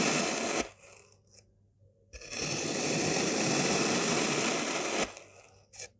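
A white-bladed knife slices horizontally through a solid, green, star-shaped block of molded kinetic sand, cutting it into slabs. A short burst of bright, gritty scraping gives way to a quiet pause, then a longer, steady crunching slice runs for about three seconds before fading, with a faint scrape at the end.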